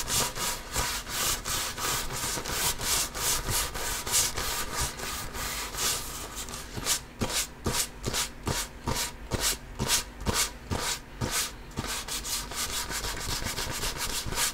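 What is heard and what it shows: A full-size inflated hollow basketball with a pebbled composite leather surface, held low and close, is scratched with spread fingertips and nails and rubbed by hand. The result is a dense, bright, rasping scratch with rapid uneven strokes at first, then more separated scrapes after about six seconds, before quickening again toward the end.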